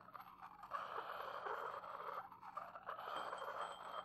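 A porcelain pestle is ground around the inside of an upright, hollow, empty white porcelain mortar. It makes a continuous gritty scraping centered near 1.1 kHz with faint bright ringing overtones. The scraping starts quiet, swells after the first moment, then surges and dips with each pass around the bowl.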